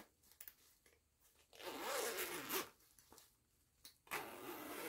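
Long nails grip the metal pull of a purple nylon zipper on a small, soft printed fabric cosmetic pouch and slide it along the edge. A few light taps and ticks lead into a long, bright, rasping zip, followed by quieter clicks and then a second zipping run that continues to the end.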